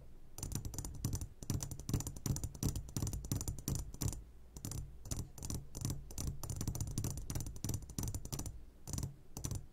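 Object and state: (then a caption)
Glass candy jar. Fingertips tap rapidly and irregularly on the sides of an upside-down clear glass jar full of hard candies. Each tap makes a dull low thump with a short, bright clicky edge, and the taps come in quick bursts with brief pauses.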